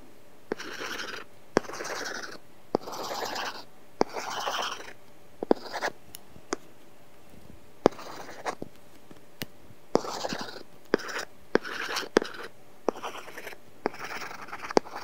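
A stylus tip makes short, bright scratching strokes across a flat iPad glass screen covered with a matte, paper-texture plastic film. Bursts of dry, papery rasping alternate with sharp little ticks as the tip touches down and lifts off, separated by quiet pauses.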